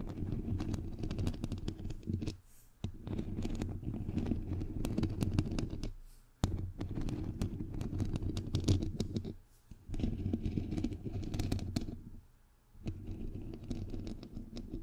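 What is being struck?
Metal mesh microphone grille.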